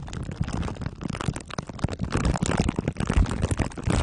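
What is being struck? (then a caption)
Microphone wrapped in aluminium foil and plastic wrap, rubbed with glue sticks. Glue sticks are rubbed over the sides and top of a microphone head wrapped in crumpled aluminium foil under clear plastic wrap. The result is a dense, continuous stream of sticky crinkling and scraping, heavy in low rumbling thuds with fast, uneven bursts throughout.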